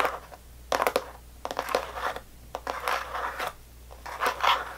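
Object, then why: Clear plastic candy tub. Long nails tap and scratch the side walls of a small, rectangular clear plastic tub full of red sour belt candy, held by both hands at the sides with the lid on. Quick, crisp clicks come in clusters with bursts of dry, scratchy rasping between them, mostly midrange with bright edges and almost no ring. A faint low hum sits underneath throughout.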